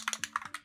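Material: Metal.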